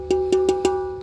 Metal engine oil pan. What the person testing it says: kalau kita ketok di sini sudah kosong ya ini sudah hulinya habis terlihat suaranya nyaring